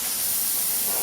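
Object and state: Nothing is struck.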